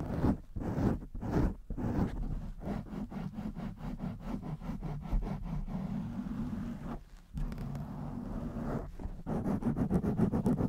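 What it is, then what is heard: Foam microphone windscreen. Long nails scratch a blue foam windscreen over a microphone, one hand on its side and the other on its top. A rapid, uneven run of muffled, low-heavy scratching strokes fills the clip, pausing briefly near the seven-second mark before picking up again louder.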